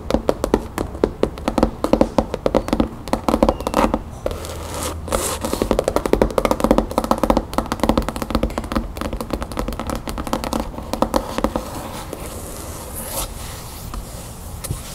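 Long nails tap rapidly on the cover of a solid red cloth-covered hardcover book lying on a table. The clip is a dense run of short, dry clicks and taps with faint scratchy scraping, centered in the low-mids around 535 Hz with very little high-end brightness. Each tap dies away almost instantly.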